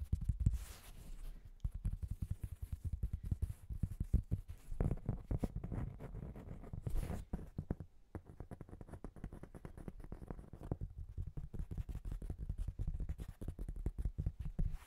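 Fingernails tap and scratch the face of a patterned, white-veined cork board held upright beside the microphone. Rapid, dense soft thuds sit almost entirely in the low range and die away almost instantly, with brief brighter scratching bursts near the start and around seven seconds.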